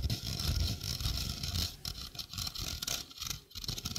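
Fingernails scratch the mesh of a small, hollow stainless steel sink strainer held close beside the mic. The result is a busy, irregular scratchy patter with a bright, hissy top and a low, rumbling body. It dips briefly near the end before resuming.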